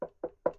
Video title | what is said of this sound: Dismantling Tannoy M20 Gold Loudspeakers. | the walls are really thin and when you knock on they really they're really tinny